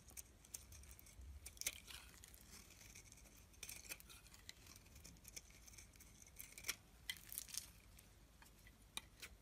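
A solid yellow-tan soap bar held in the hand is scraped with a metal blade into curls. Quiet, bright, crisp scraping strokes and short sharp ticks come in irregular bursts over a soft, hissy background, with little low end.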